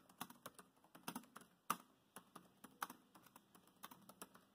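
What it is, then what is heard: Plastic laptop keyboard. Rapid fingertip typing with both hands on a dark grey plastic laptop keyboard. Quick, uneven streams of short, dry, clicky taps with a bright edge, and a couple of noticeably louder key strikes stand out from the rest.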